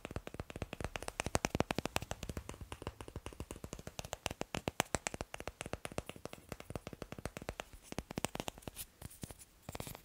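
Fingers tap quickly on wooden blocks in a steady, dense run of short, dry clicks and knocks. Each tap dies away almost instantly, with a mix of low thuds and bright, crisp ticks, and no talking.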